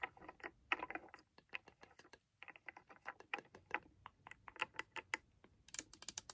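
Long nails tap rapidly on a small, hollow, white and blue plastic toy blender base and its buttons as it is held in hand with its clear jug. The taps are quick, dry and clicky with a bright edge, dying out almost instantly. They come in irregular bursts with a brief pause near the middle.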